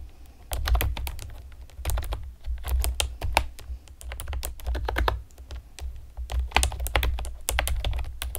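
Long painted nails and fingertips type rapidly on a pastel plastic, typewriter-style computer keyboard with round retro keycaps and hollow keys. Dense, short, bright clicks and taps come in quick bursts over a steady low rumble, each dying away almost instantly.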